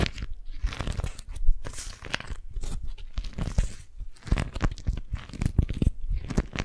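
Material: Waxed cotton.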